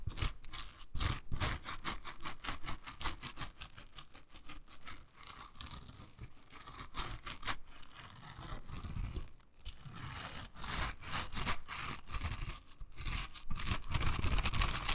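Long nails scratch and flick the dense, soft bristles of a hand-sized pink silicone scrubber held in the hand. The result is a rapid, irregular stream of dry, crackly scratches and flicks with bright hiss and a soft low thump beneath. Each flick is short and dies away almost at once.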